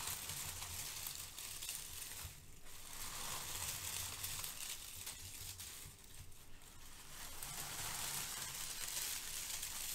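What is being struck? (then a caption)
Crinkle-cut kraft paper shred. Fingertips press and scrunch brown crinkle-cut kraft paper shred resting on a white foam sheet, producing a quiet, continuous crinkling. The dense, bright crackle fills the clip over a faint low rumble, easing briefly around 2.5 and 6 seconds before picking up again.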